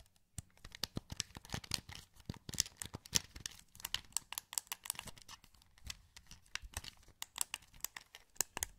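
Fingertips click the buttons of a hollow, translucent green plastic PS2 wireless controller held in both hands. Some thirty quick, quiet, dry clicks land in an irregular stream, each one sharp and bright with almost no ring. Together they give a crisp, crinkly clatter.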